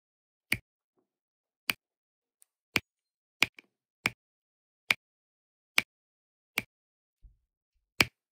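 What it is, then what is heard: Resin drills pressed onto adhesive canvas. A plastic drill pen repeatedly presses small blue resin drills onto a sticky diamond painting canvas. Nine sharp, bright clicks land at irregular intervals, each dying away almost instantly, with a few fainter taps and near silence in between.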